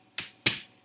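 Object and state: Baked-through bread roll, hollow.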